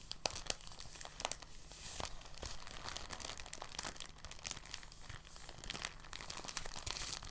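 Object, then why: Thin polyethylene plastic bag. A thin, translucent, empty polyethylene bag is held in both hands and crinkled and squeezed with fingertips and short nails. It makes soft, continuous crinkling with many sharp, bright crackles over a faint low background hum.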